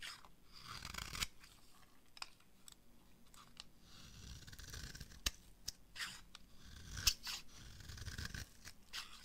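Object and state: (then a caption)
Dry bar soap being carved. A small utility blade shaves and carves thin strips off the edge of a dry, palm-sized rectangular bar of green soap held in the hand, with the shavings falling onto a pile below. Crisp, bright scraping and cutting strokes sound in quick succession, with a few sharper, louder snaps among the softer rasping.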